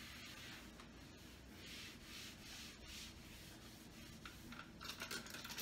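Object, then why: Wooden cabinet door wiped with a paper towel. A hand rubs and wipes a paper towel across the lower part of a large, wood-grain wooden kitchen cabinet door. The audio is a quiet, steady, hissy rubbing that swells and fades in soft, airy strokes. It turns brighter and more scratchy with sharper little bursts toward the end.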